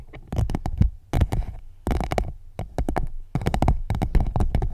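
An empty clear PVC pouch wrapped around a microphone is tapped and scratched with long nails. Clusters of quick, dull, bassy thumps and short crinkly scrapes come in bursts separated by brief pauses, each hit dying away almost instantly.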